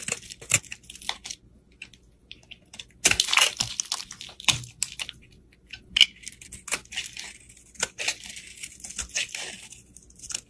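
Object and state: Bar of soap being scraped and sliced.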